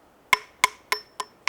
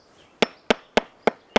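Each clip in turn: First: Five crisp, high hammer clinks on rock that die at once, with no low boom: solid rock. Second: Five sharp hammer taps on rock, each a dull, broad clack that dies at once, revealing a hollow, detached flake.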